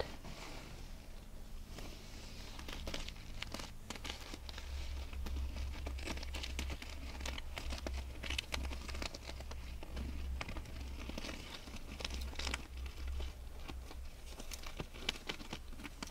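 Long nails scratch across the sequins of a held-up pair of small grey sequin-covered canvas sneakers with rubber soles. The result is a dense, bright crinkling and crackling rustle with quick, dry scrapes that stop without ringing, over a steady low hum.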